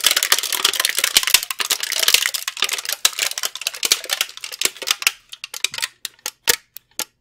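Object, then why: Thin plastic candy tray. A brown plastic candy tray with cavities, held in both hands, is tapped and flexed with the fingers. It makes a dense run of bright, crinkly plastic clicks and crackles for about five seconds. The sound then thins out into sparse, separate sharp taps with short silences between them.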